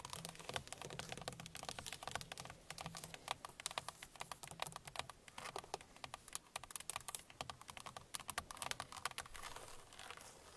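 Long painted fingernails of both hands rapidly tap the hard plastic airbag cover at the center of a car steering wheel. The result is a dense, continuous patter of short, bright clicks with almost no ring, over a faint low hum.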